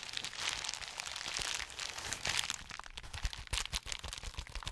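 A folded sheet of clear plastic bubble wrap is held in both hands near the mic while fingers squeeze, pop and crinkle it. A steady bright crinkling fills the first half, then gives way to sharper, separate snapping pops with a little low thump beneath them.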